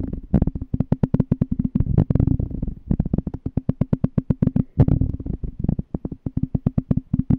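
A small, clear, empty glass jar is held on its side while fingertips tap and scratch its glass bottom. A rapid, uneven series of short, dull taps is heard, mostly low and muffled with very little ring. Brief rubbing scratches blur some of the taps together.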